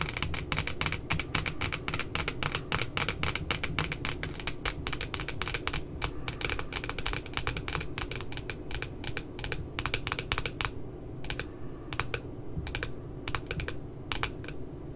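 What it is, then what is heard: Glossy cardboard notebook cover. Long glitter nails tap quickly near the top edge of a glossy cardboard puppy notebook cover. They make a fast stream of short, crisp, bright clicks over a steady low rumble. The tapping stays dense for most of the clip, then thins into scattered taps toward the end.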